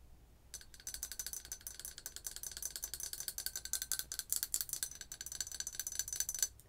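Long white acrylic nails tap rapidly on the outer wall of a large, empty, printed ceramic coffee mug held by its handle. Dozens of quick, bright clicks sound over about six seconds, each with a very short, high ceramic ring and almost no low end.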